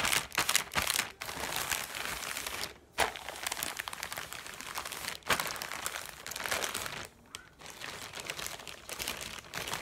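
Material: Plastic.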